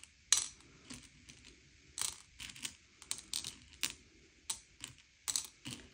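Fingertips slide and push small, hard, sugar-shelled M&M's candy-coated chocolates around a pile on a grey plate to sort them by colour. Each nudge makes a quick, bright clicking rattle as the candies knock together. The clicks come in separate bursts with quiet pauses between them, and each one dies away almost at once.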